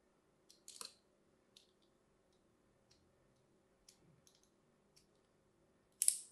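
A thin metal blade scores diagonal lines into a solid, hand-sized, light green bar of soap held in the hand. The result is a series of quiet, bright, short scratching clicks spread over the clip, with almost no low end, ending in one louder, longer hissing scrape.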